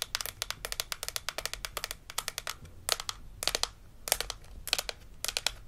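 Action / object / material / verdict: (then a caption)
tap / plastic toy dental model / plastic / none. A hollow plastic dental model with plastic teeth from a Melissa & Doug Super Smile Dentist Kit is held in hand while long acrylic nails tap and scratch across the teeth. Quick bursts of bright, dry clicks and ticks come in clusters, with short scratchy rasps between them. Each click stops almost instantly with no ring, and there is little low-end weight.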